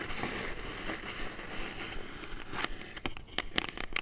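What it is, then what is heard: Cardboard box. Long nails lightly scratch and tap a small, hollow brown kraft cardboard box held in the hands. A steady dry scraping fills the first half, then gives way to a few sharp, bright taps that ring only briefly against the hollow box.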